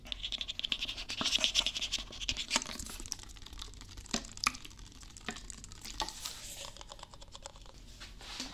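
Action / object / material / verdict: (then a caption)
scrape / plastic drink bottle / plastic / none. Fingernails scratch along the ridged plastic and label of a blue plastic Prime drink bottle of about 500 ml, hollow and seemingly filled, held in one hand close to the mic. A dense, bright, crackly scratching with rapid ticks is loudest in the first few seconds. It then settles into softer scraping broken by a few sharper clicks.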